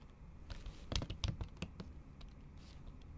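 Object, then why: Laptop keyboard with silicone cover. Long acrylic nails tap the keys of a MacBook keyboard covered by a thin pink plastic or silicone keyboard cover while typing. About seven uneven, quick clicky taps stand out over a low, dull rumble, each one short and bright at the top.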